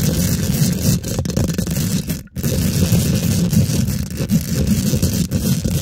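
Long pink glitter nails rapidly scratch and tap a hollow, rounded steel wire-mesh microphone grille. The result is a dense, continuous low rumble with a rough, scratchy texture and a faint high hiss. It cuts out briefly near the middle before resuming.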